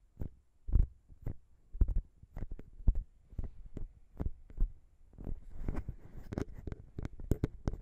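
Long pink nails tap and scratch around the small chrome metal XY microphone capsules of a Zoom H6 recorder, close up. Deep, boomy thumps land at an uneven pace, each with a brief bright click on top. About halfway through, a soft, hissy scratching joins the taps.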